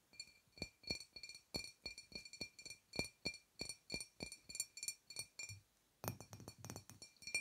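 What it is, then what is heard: Glass wine bottle. Long nails tap a dark glass wine bottle with a paper label, apparently full, close to a small lavalier microphone. The result is a quick run of short, bright clinks with a ringing tone near 2.4 kHz, each fading almost at once. After a brief pause near the end, the tapping resumes faster and denser.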